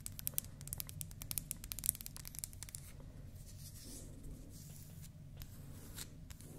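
A small, round, mint-painted wooden toy makeup compact with a natural wood cube knob, solid and held in the hand, is scratched and tapped with long manicured nails. For the first few seconds a rapid run of sharp, bright clicking taps sounds over a steady low rumble. Then it settles into softer, continuous scratching and rubbing with only occasional light taps.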